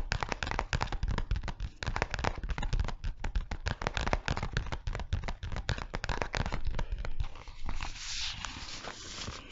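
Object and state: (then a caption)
Clear plastic zip pouch. Long fingernails tap and scratch a flat, empty-looking clear PVC pencil pouch with a Lego print and a red zipper, held in both hands close in front of the mic. Rapid, crackly taps and crinkling scratches come in a dense, uneven stream with a deep, close thump beneath each one. Near the end the tapping gives way to a brighter, steadier rustling scrape.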